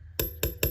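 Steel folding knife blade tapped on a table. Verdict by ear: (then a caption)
Thin. The thin steel blade of a Gunslinger folding knife is tapped on a table three times. Each tap gives a sharp knock with a high, thin metallic ring that fades quickly, showing the blade is much thinner than another knife's blade.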